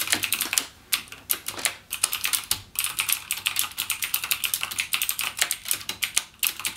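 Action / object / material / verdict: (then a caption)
tap / plastic mechanical keyboard / plastic / none. Fingertips type rapidly on a backlit plastic gaming mechanical keyboard with clicky Cherry MX Blue switches. Dense, bright keystroke clicks run in quick bursts with brief pauses in between, each click sharp with almost no ring.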